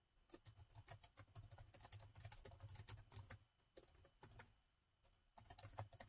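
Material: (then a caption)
Plastic. Fingertips of both hands type on the black plastic keys of a gold laptop keyboard, producing rapid, dry clicks with bright tops over a soft low thump. The typing runs in quick bursts, with short pauses near 3.5 and 5 seconds before resuming.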